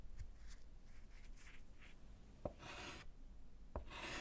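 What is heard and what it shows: A gloved hand writes with orange chalk on a small, solid slate chalkboard set in a wooden frame. Soft, quick scratching strokes give way to sharp taps of the chalk meeting the slate, each followed by longer, bright, rasping scratches.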